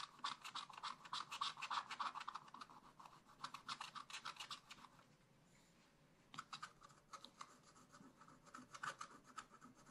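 A wooden stylus scratches fur lines for a raccoon into black wax-coated scratch-art paper in a spiral-bound pad. Quick, dry, bright scratching strokes come in rapid bursts, fade to near silence for about a second and a half midway, then resume more sparsely.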